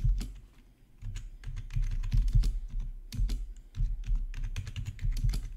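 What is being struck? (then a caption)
Plastic membrane keyboard. Both hands tap with their fingertips on a full-size black plastic membrane gaming keyboard with rainbow backlit keys, lying on a marble-pattern surface. The result is a rapid stream of soft, muffled, low thudding key presses with very short decay. The typing starts, pauses briefly near the one-second mark, and then continues steadily.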